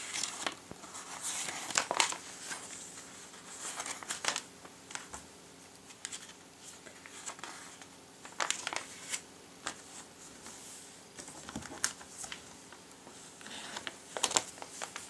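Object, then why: Glossy paper catalogue. Fingertips grip, bend and turn the thin pages of an open glossy paper catalogue lying on a table. The result is bright, papery crinkling and rustling, with sharp louder crackles between quieter stretches of soft page noise and almost no low end.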